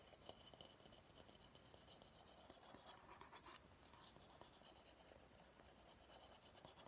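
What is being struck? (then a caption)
Bamboo bowl. Fingernails scratch the curved outer surface of a medium, empty bamboo bowl. Quiet, continuous dry scraping fills the clip, with small clicks and a slightly brighter, denser stretch in the middle.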